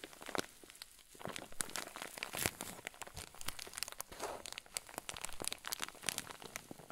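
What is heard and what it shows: A clear zip-lock plastic bag full of white fluffy filling is squeezed and crinkled with both hands. Soft, dense crinkling and crackling comes in quick bright bursts, rising and falling over a quiet background.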